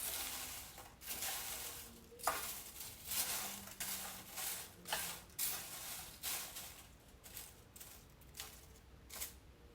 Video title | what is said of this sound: 羽衣甘藍 Kale 羽衣甘藍葉烤片，羽衣甘藍葉脆片 不同做法及調味，低热量，健康减肥，美味酥脆，好吃得不得了The crispy, healthy，yummy roasted Kale chips | 听听非常酥脆的声音，而且没有粘连